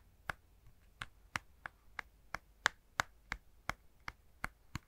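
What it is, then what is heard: Plastic handheld game console. Fingertips tap a plastic Nintendo Switch handheld game console with its Joy-Cons attached, held up in front of the microphone. Thirteen short, dry, clicky taps come at an uneven pace, each with a bright snap centred in the upper mids. They die away almost instantly over a faint, low background hiss.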